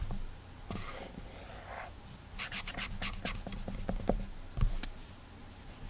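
Clammy fingertips rub and drag across the glass touchscreen of an iPad, giving a squeaky, sticky friction. Soft broadband swishes come first, then a run of quick bright squeaks and taps over a low steady hum.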